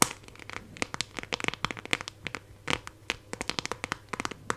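Long nails scratch and tap the back of a hand-held phone in a clear plastic case with raised 3D decorations, working around the camera cutout. A rapid, irregular series of sharp, bright plastic clicks and short scratchy ticks sounds over a quiet background, each tap dying away almost instantly.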